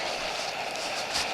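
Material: Nothing is struck.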